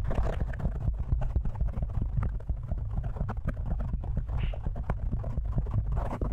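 Fingertips and short nails of both hands scratch and tap a large black foam windscreen, soft and porous, covering a hollow metal studio microphone head. The sound is a steady stream of rapid, muffled thumps and rustly scratches, heavy in low boomy rumble with little brightness, each tap dying away almost instantly.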